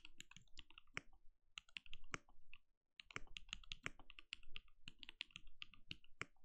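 A compact RGB-lit mechanical keyboard with a translucent plastic case and plastic keycaps, sitting on a desk, is typed on steadily with the bare fingertips of both hands. Quick, dry keystroke clicks come in bursts with brief pauses, each with a bright clack over a soft low thud that dies away almost instantly.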